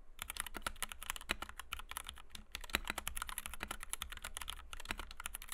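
Fingertips of both hands type rapidly on a compact white 60% Kemove DK61 mechanical keyboard with Gateron Red switches, PBT doubleshot keycaps and a plastic case, resting on a desk mat. A dense, steady stream of short, crisp key clacks pairs a bright click with a low thock, each dying away almost instantly.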